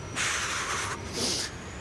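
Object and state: Nothing is struck.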